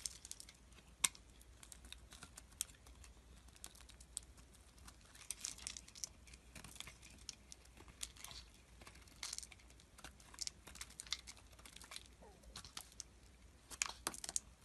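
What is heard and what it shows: A palm-sized, solid translucent purple glycerin soap bar is held in the hand and shaved with a utility knife blade, and thin curls fall off. Quiet, crisp, bright scraping and crinkling strokes come in quick, uneven bursts over a faint steady low hum, with a few sharper clicks standing out.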